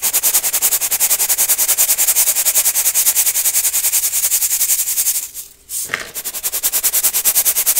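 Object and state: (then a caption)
Baking soda crunching in a metal mesh sieve. Clumps of baking soda are rubbed and sifted through a gold brass mesh sieve over a clear bowl, making bright, crunchy grinding strokes at a quick, steady pace of about three to four per second. Just after five seconds the rubbing briefly stops; a short sharp scrape follows, and the rhythmic crunching resumes to the end.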